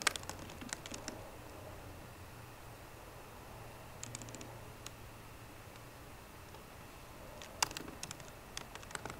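Fingertips with short green nails tap the low-profile plastic keys of a 13-inch aluminum MacBook Pro keyboard in quick, light clicks. The taps come in bursts at the start, around four seconds and near the end, with a quiet stretch between them. A faint steady low hum sits underneath throughout.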